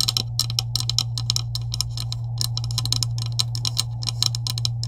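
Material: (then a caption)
Plastic. Long acrylic nails tap rapidly on the top of a green, hollow plastic PVC pipe with couplings resting on a table. The taps come as quick, bright, clicky bursts over a steady low hum.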